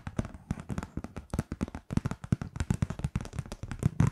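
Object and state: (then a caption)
Kraft paper card. Long painted nails rapidly tap and scratch across a flat kraft-paper Merry Christmas card printed with a heart wreath. The result is a quick, irregular stream of short, dry clicks and soft thuds that die away almost instantly, with a faint papery scratch between them.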